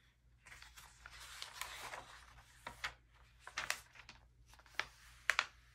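A bare hand grips the edge of an open early 2000s glossy paper magazine, turning several thin glossy pages and smoothing them flat with the fingertips. Soft, bright rustling and sliding paper give way to sharp, crisp crackles and snaps as each page flips over, in a quiet small room.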